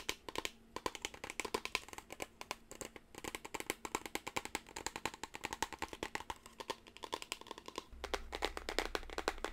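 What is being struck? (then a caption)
Small cardboard box. Long blue nails tap rapidly and scratch the surface of a small teal rectangular cardboard gift box with a printed white ribbon, held in both hands. The result is a continuous stream of dry, short, bright clicks with no ring and a soft scratching texture beneath. A steady low hum joins in for the last couple of seconds.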